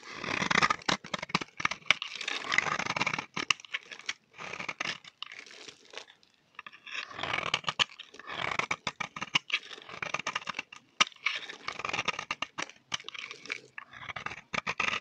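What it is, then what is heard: Dry bar soap scraped with a blade. A solid, dry cream bar of soap held in the hand is scraped with a utility knife blade, sending crunchy shavings off. Quick, bright, crackling scrapes come in bursts of dense crunching with short pauses between strokes.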